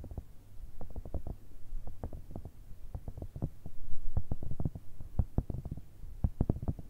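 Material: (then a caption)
Silicone. A grey, cylindrical, cat-shaped pencil case made of hollow soft silicone, with a zipper, is held upright and tapped and scratched with long red nails. The result is a quick, irregular run of dull, muffled, low thumping taps with very short decay, over a faint low hum.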